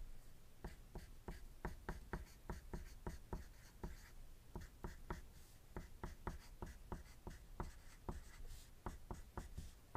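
A wooden graphite pencil writes on a thin white paper sheet resting on a desk, making dense scratching strokes. Twenty-six short, sharp strokes tick out in a quick, uneven rhythm over a low, steady background rumble, each stopping almost instantly.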